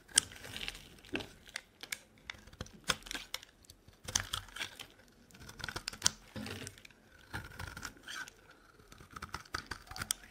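A solid dry white bar of soap held in the hand is carved with a metal box-cutter blade into flakes. A rapid, irregular series of crisp, bright scraping and cracking cuts is heard, with faint crinkling as the flakes break away.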